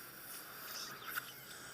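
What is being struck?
Nothing is struck.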